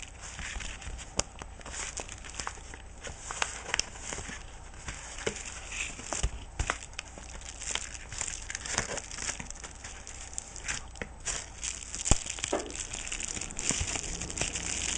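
A thumb and fingernail press, rub and scratch along a yellow kraft-paper padded bubble mailer lying apparently empty on a wooden table, crinkling it. Dense, bright crinkling and crackling plays throughout, broken by frequent sharp scratchy clicks. A faint steady low hum sits underneath.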